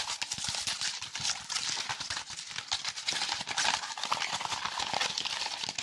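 A small block of brown honeycomb or corrugated cardboard with a hollow cellular structure is held close to the mic and rapidly tapped and scratched with fingertips and nails. The result is a dense, fast stream of dry, crisp clicks and scratchy rustles that is mostly bright with almost no low end.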